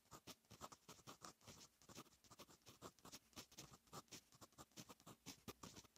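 A fine metal fountain pen nib writes on a lined paper notebook page, making a quick, steady run of short, dry scratching strokes. The strokes are quiet and bright, with a faint papery hiss between them.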